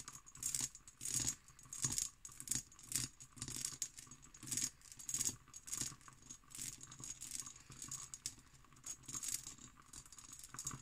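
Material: Glass.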